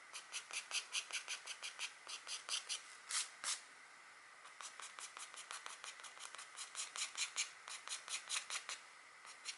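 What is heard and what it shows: A green stylus held in a long-nailed hand scratches antler lines into the coating of a flat black, wax-coated scratch art card. The result is a quick run of 33 short, dry, bright scratching strokes, with a brief quiet pause in the middle.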